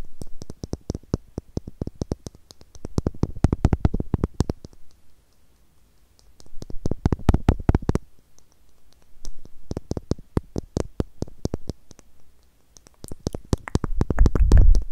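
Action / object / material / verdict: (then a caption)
tap / small plastic screw cap / plastic / none. A small, hollow blue plastic screw cap is tapped rapidly with long nails, giving quick, irregular bursts of sharp, dry clicks over a soft, low, hollow thump. The tapping comes in dense clusters separated by brief quiet gaps and grows louder and busier toward the end.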